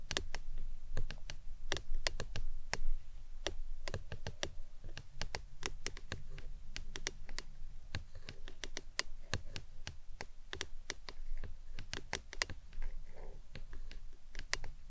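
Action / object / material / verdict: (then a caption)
tap / hard plastic tumbler / plastic / none. A hollow, printed hard plastic lemonade tumbler with a green lid stands upside down and is tapped around its sides with long nails. The result is a quick, irregular stream of short, bright clicky taps that die away almost instantly, over a steady low hum.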